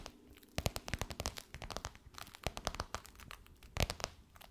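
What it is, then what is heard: Faux leather pillowcase tapped and scratched with nails. Long white nails tap and scratch across a gold crocodile-embossed faux leather pillowcase stretched over a soft pillow. After a brief quiet start, a dense run of crisp, bright clicks and crinkly, crunching scratches follows, with the sharpest taps standing out near the start and again toward the end. Each tap dies away almost instantly.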